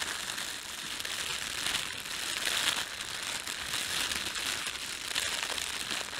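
A red-and-white printed thin plastic bakery bread bag is crumpled by fingers, then rubbed between flat hands. The result is a steady, dense, bright crinkling and crackling that swells and eases slightly over about six seconds, with almost no low end.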